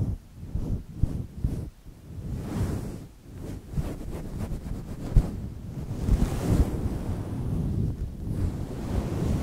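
Fingertips, mostly of one hand, brush and scratch a fluffy grey faux-fur windscreen on a microphone. The result is a deep, muffled rumbling and rustling, almost entirely low in pitch, with several soft thumps that come through as dull, windy bumps.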